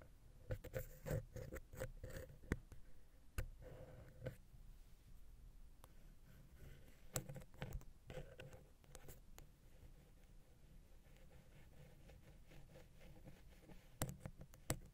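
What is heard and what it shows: A wooden ear pick scratches the small, hollow silver metal X/Y microphone capsule on a Zoom H6, then is held at an angle and drawn along its side. The result is quiet, close scratching and scraping with a deep, low-heavy tone. Sharp ticks and taps stand out near the start, around the middle and at the end.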